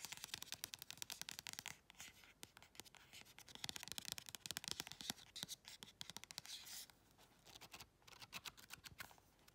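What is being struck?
Paperback colouring book, glossy card cover and paper pages.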